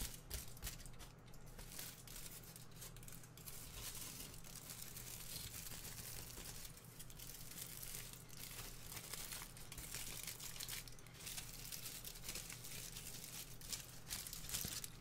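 A small strip of thin aluminium foil is held in the fingers and folded, twisted and crinkled by hand. Dense, bright crackling and crinkling runs throughout at a low, even level, with a steady low hum underneath.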